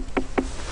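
A large gourd growing in a field is tapped twice, each tap giving a short, low, hollow knock around 260 Hz that dies away quickly. The dull, firm knocks mark the gourd as solid and well ripened.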